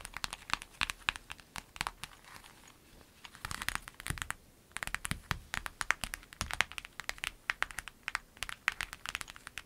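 Long nails tap, scratch and rub a flat, clear lemon-print vinyl zip pencil bag. Dense, crisp crinkly clicks and scratches come in quick bursts. They are bright and dry with no ring, broken by softer rubbing lulls around the 2.5 and 4.5 second marks.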